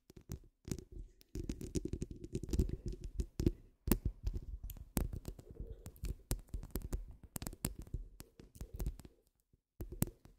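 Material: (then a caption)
Metal mesh. Long almond acrylic nails scratch the woven grille of a hollow metal mesh microphone head. The result is dense, muffled, low scratching and rumbling in uneven bursts, punctuated by sharp taps and brief pauses.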